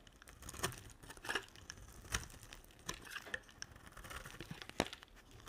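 A solid yellow translucent glycerin soap bar is shaved along its edge with a utility knife blade. The result is a quiet series of short, crisp scraping and crackling strokes with bright, papery texture and no ringing between cuts.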